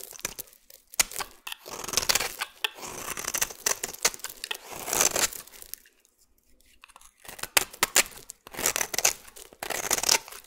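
A metal utility blade scrapes fine shavings from a solid white oval bar of soap. The sound is a run of crisp, dry, crackling scrapes that rise and fall in bursts, bright and thin with almost no low end. It goes quiet briefly around six to seven seconds before the scraping resumes.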